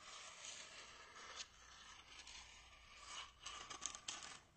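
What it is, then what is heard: Styrofoam block. A small white block of solid expanded polystyrene (styrofoam), held in both hands, is scratched and rubbed with fingernails and fingertips. The result is a dry, bright, hissy scraping with almost no low end, swelling and fading in uneven strokes, ending in a cluster of sharper scratches.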